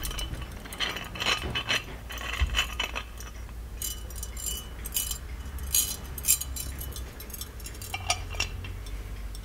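Fingers tap and scratch the embossed surface of a small, ornate, hollow gold-plated metal genie lamp. The result is a steady run of quick, bright metallic clinks and short scraping rasps that die away almost instantly, over a soft low hum.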